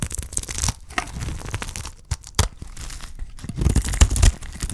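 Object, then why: Bar of soap shaved with a blade. A solid, dry green soap bar held in the hand has its edge shaved with a utility knife blade, peeling off curls. The sound is a run of dry, scratchy tearing and crinkling scrapes, low-heavy with bright edges, swelling louder toward the end.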